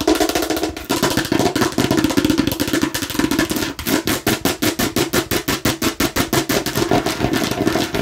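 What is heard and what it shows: Long nails tap rapidly on the red and green sides of a hollow, hard plastic watermelon-slice container. The taps land as quick, dry, hollow clicks that stop almost instantly, running in a dense flurry at first and then settling into a steadier, more evenly spaced rhythm.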